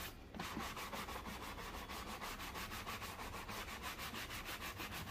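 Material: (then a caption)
Leather. A black leather loafer, worn on a foot resting on a blue plastic stool, is brushed back and forth with a wooden-backed horsehair shoe brush, its bristles rubbing across the leather upper. After a brief quieter start, a fast, steady run of bright, scratchy swishing strokes continues at about three strokes per second throughout the clip.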